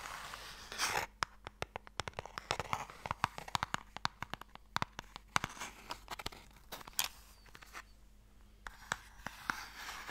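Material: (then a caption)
Wood. Long painted nails tap and scratch the lid and sides of a small, long, light, hollow wooden Mikado game box held in the hands. Dozens of sharp, dry, bright clicks come in quick irregular bursts, mixed with brief rasping scratches. A faint steady low hum sits underneath.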